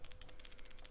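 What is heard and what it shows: A roughly 200-carat carved gemstone ornament, translucent and very dense, is shaken so a free-moving piece carved in place inside it rattles without coming out. A quick run of light, bright clicking taps sounds over a low background rumble.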